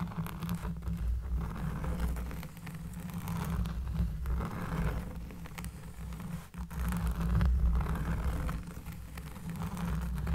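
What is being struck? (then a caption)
Cork trivet. A round, flat, solid cork trivet lying on a table is scratched with the long nails of both hands. The result is a steady, rough scratching and rustling with a deep, bassy rumble underneath, swelling and easing in loudness as the nails move across the cork.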